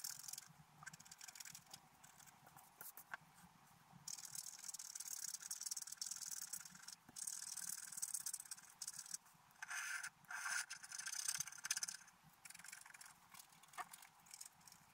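A wooden stylus scrapes across a flat, black-coated scratch-art paper card. Dry, bright, hissy scratching comes in bursts of short and longer strokes, with quiet gaps between them and no ringing after each stroke.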